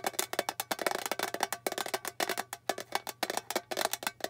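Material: Metal.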